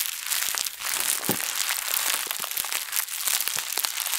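A thin, printed plastic bag held in both hands is squeezed and crushed with fingers and long nails. It gives a steady stream of crisp, bright crinkling and crackling with sharp little snaps. The sound is almost all high-pitched, with hardly any low end.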